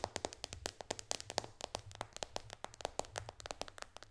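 Long dark fingernails of both hands tap fast on the glass screen and white bezel of a white iPad lying flat. The result is a rapid run of about thirty sharp, bright clicks that stop instantly with no ring. A faint low hum sits underneath.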